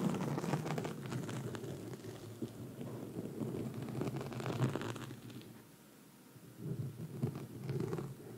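Long red nail tips scratch across a black foam microphone windscreen, making a dense, muffled, low rumbling rustle with little brightness. The scratching runs steadily, eases into a quiet stretch near the middle, then picks back up toward the end.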